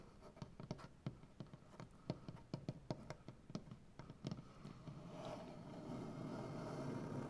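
Long painted nails of both hands scratch along the grain of a large solid maple butcher block tabletop, making about 19 short, dry, irregular scrapes with a woody low thump. After about five seconds they blur into a steadier, slightly louder rasping scratch.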